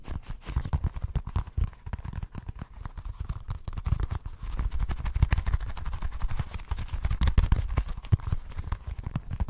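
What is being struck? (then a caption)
Small soft rubber football-shaped stress ball. Short painted nails quickly tap and scratch a small, solid, orange football-shaped squeeze ball made of soft rubber or foam. A steady, rapid stream of dull, low, muffled thuds plays throughout, with faint scratchy texture and almost no bright sound.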